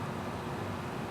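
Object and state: Nothing is struck.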